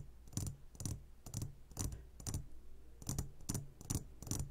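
Fingertips tap quickly on the sides of a clear glass jar full of gummy candies. The sound is a run of short, irregular taps, each with a low thud and a bright glassy click that fades fast, over a soft steady low hum.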